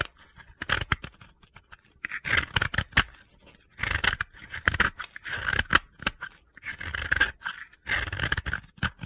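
A utility blade scrapes and shaves gritty powder off a solid, hand-held, pale blue piece of dry soap. Repeated short, crunchy scraping strokes come in bursts with brief pauses, giving a bright, gritty rasp with little low end.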